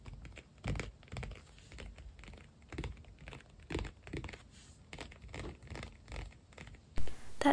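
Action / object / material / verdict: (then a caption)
tap / padded faux leather planner cover / faux leather / none. Fingertips tap and scratch the glossy padded cover of an iridescent holographic PU leather binder planner lying flat. Soft, irregular dull thumps mix with light scratchy rustling, and a sharper, louder burst comes at the very end.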